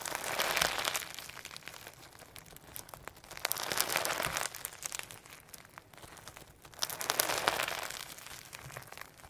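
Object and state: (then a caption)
Sequin slime being squeezed. Firm, solid sequin hologram slime with pearl beads is stretched, folded and squeezed in both hands. It gives bright, dense crinkling and crackling clicks that swell into three louder bursts and ease off between them.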